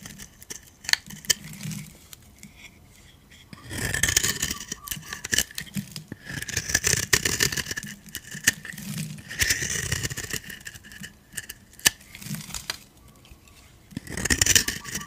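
A metal utility blade scrapes crunchy white shavings off a solid white dry soap bar with a purple edge. Bright, crisp crunching and scraping comes in several bursts, separated by quieter stretches with sharp, dry clicks and ticks.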